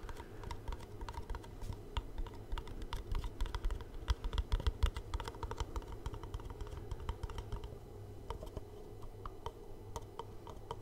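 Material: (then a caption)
Cardboard. Fingertips and short nails tap along the faces and edges of a small, hollow black cardboard gift box held in the hands close to the microphone. The result is a quick, irregular patter of short, dry clicking taps, some with a brighter snap, that die away almost instantly over a steady low hum.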